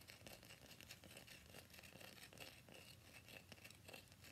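Fingernails tap and scratch quickly on the surface of a solid cream-white rectangular bar of soap held upright in both hands. The result is a quiet, steady stream of crisp, bright scratching and dry clicking taps with a crinkly texture and no pauses.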